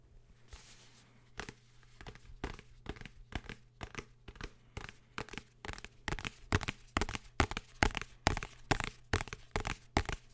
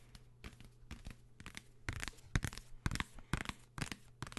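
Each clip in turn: First: Quick dry taps and scratchy strokes on a hardcover book, each one dying away almost instantly. Second: About a dozen quick, dry fingertip taps on a paper book, crisp and papery with no ring.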